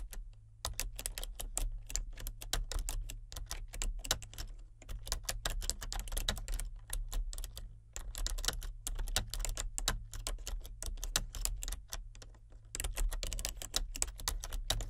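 Both hands with red-painted nails type steadily on a full-size plastic keyboard with color-changing backlit keys. Quick, dry, bright key clicks come in dense bursts, with short pauses near the start, around the middle and shortly before the end. A steady low hum runs underneath throughout.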